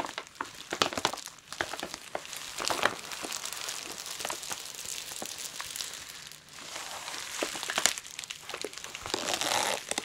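Long pointed nails tap and scratch clear plastic bubble wrap that is wrapped around a soft plush toy lying flat. The result is a steady stream of bright, dry crinkling and crackling, with sharp tapping clicks scattered throughout and almost no low end.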